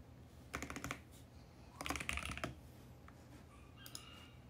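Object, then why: Mechanical keyboard with plastic keycaps on a plastic case. Fingertips type at a moderate pace on a compact VGN X68 mechanical keyboard with plastic keycaps on a plastic case. Two quick bursts of bright, clacky keystrokes with short, dry decays are followed by a few faint taps near the end.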